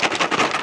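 A Hot Wheels 80th anniversary five-pack of die-cast toy cars in a blister pack is shaken in the hand. The loose cars rattle inside the packaging in about six quick, bright clattering bursts with almost no low end.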